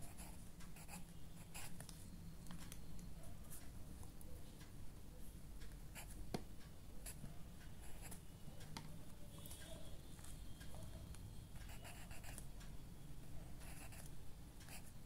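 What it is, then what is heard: Pen writing on a paper notebook page. A ballpoint pen tip scratches steadily across the page of an open lined paper notebook as one hand writes continuously while the other hand rests on the page. The writing makes a quiet, even scratching with brief bright ticks over a soft low rumble that persists throughout.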